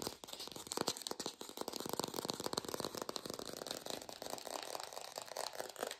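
An artificial plastic green apple is fast-tapped and recorded lo-fi without a microphone. It gives a rapid, continuous stream of dry, clicky taps with a crinkly, rattling texture, concentrated in the mid and high range with almost no low end. The taps stay short and even in level, with no ring after each one.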